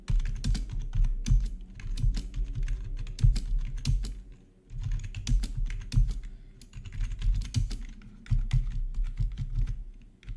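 A full-size black plastic membrane gaming keyboard with RGB backlight, resting on a marble surface, is typed on with the fingertips of both hands. Rapid, overlapping key taps come out deep and hollow-sounding from the housing, with brief bright clicks on top. The typing runs in steady bursts with short lulls near the middle.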